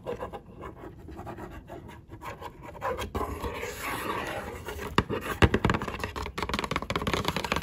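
Long acrylic nails rapidly tap and scratch the printed surface of a small, hollow cardboard box of Belgian cocoa-dusted truffles. Quiet, dry scratching and rubbing mix with soft, hollow taps. The sound grows busier and louder in the second half, with a few sharper clicks standing out.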